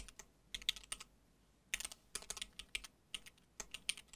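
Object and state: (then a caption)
Mechanical keyboard with plastic keycaps. Both hands type with their fingertips on a compact mechanical keyboard with cream and dark plastic keycaps on a solid case, while the mouse sits idle. About twenty quick, bright, clicky key taps come in bursts separated by short pauses. Each tap is sharp and dies away almost at once, with very little low end.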